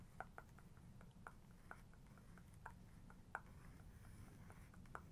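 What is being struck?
Paper page of a book.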